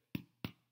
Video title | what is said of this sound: Baking Revolution: Challa | hear that thud? That means this bread is ready to eat. Right, let's go ahead and cut into it.